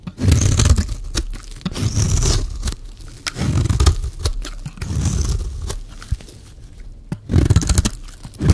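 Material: Soap.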